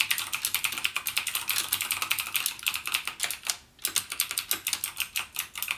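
Fingertips type rapidly on a backlit plastic mechanical gaming keyboard with clicky Cherry MX Blue switches. The keys give a fast stream of bright, crisp clicks with almost no low end, each click dying out almost at once. A brief pause comes just before the four-second mark, then the typing resumes.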